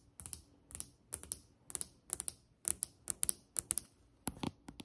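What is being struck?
Glazed ceramic tile countertop.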